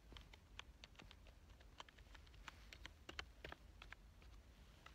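Fingertips type on the keys of a black plastic full-size keyboard with a hollow body, lying on a couch. Quick, sharp plastic clicks with bright tops patter irregularly over a steady low hum, each tap dying away almost at once.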